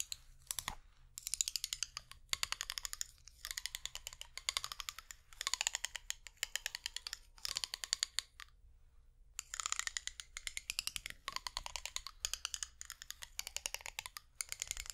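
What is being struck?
Ridged plastic makeup brush handle.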